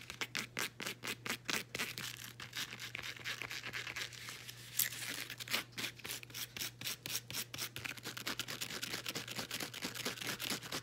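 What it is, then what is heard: Woven elastic fabric band. Long acrylic nails scratch a folded blue woven elastic fabric resistance band held in the hand. Dozens of quick, bright, rasping strokes come in a steady rhythm, with a brief smoother rubbing stretch midway, over a faint constant low hum.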